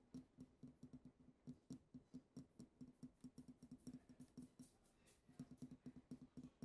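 Long acrylic nails tap around the neck and shoulders of a small, partly filled, pink-tinted glass perfume bottle with a heart print. About thirty quick, soft clicks have a faint glassy ring near 250 Hz that dies away almost at once. The tapping comes in steady bursts, with a brief lull before it picks up again.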